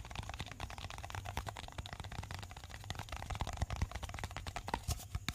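A small, hollow pink plastic cosmetic jar with a lid is held in the hand and tapped and scratched with fingertips and short nails on its sides and lid. A rapid, steady stream of short clicky taps and light scratches rides over a low, hollow thump, and each tap dies away almost at once. The taps grow slightly louder and sharper toward the end.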